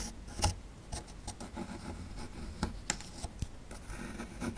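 A metal chisel scrapes at the bottom right of a solid plaster fossil dig block, breaking away bits of plaster. Dry, gritty rasping runs throughout, punctuated by eight short, sharp clicks and cracks that die away almost instantly, with a low rumble beneath and bright scratchy edges.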